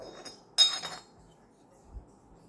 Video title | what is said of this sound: [ HOT] ❤️ 7 KỲ QUAN NHÂN TẠO - ẤM TỬ SA -( Zalo. 0917.82.81.86) | một âm thanh trong veo như tiếng kim loại